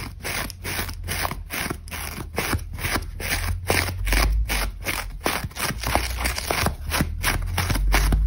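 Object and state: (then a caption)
Dry crumbly foam sponge. Long nails scratch fast along a dry, crumbly grey-beige foam sponge held in one hand, gouging lines into its surface while crumbs scatter on a white table. The result is a quick, uneven run of rough, crunchy scraping strokes over a low, steady rumble.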